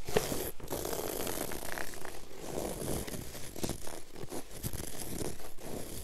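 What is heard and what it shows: Long acrylic nail tips scratch and drag in fast strokes across a flat, solid, low-pile woven textile floor carpet. The result is a steady, rough rasping texture of overlapping scrapes, with bright hiss and a low, dull body that swells and dips with each stroke and no ring afterward.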